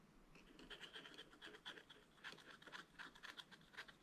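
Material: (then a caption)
Coated paper. A wooden stylus scratches the bird area of a black-coated scratch-art page in a spiral-bound book with steady strokes. The result is a quiet, dry, papery scratching that pulses with each stroke, with a bright, hissy tone centered around 3.3 kHz and almost no low end.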